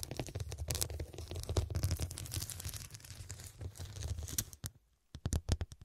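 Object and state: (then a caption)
Glass-studded cushion. Long dark pointed nails tap rapidly on the square faceted glass studs of a medium, soft, filled fabric cushion. A dense run of quick clicking and scratching taps over a low rumble fills the first four and a half seconds, then goes briefly quiet. A short burst of separate sharp taps follows.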